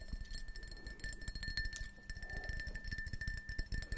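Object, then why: Glass drinking tumbler. A small, hollow, printed glass drinking tumbler, apparently empty, is held upright between the palms while fingertips and nails tap rapidly around its sides. The taps make quick, bright clinks and soft low thumps over a steady ringing glass tone near 1.7 kHz.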